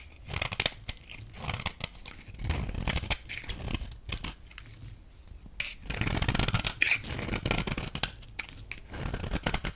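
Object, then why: Bar of soap. A blade cracks and scrapes crumbly chunks off a solid, dry, rectangular blue bar of soap held in the hand. The result is bursts of crisp, dense crunching and scraping with a deep thuddy low end and bright, gritty highs. Brief quieter gaps separate the bursts.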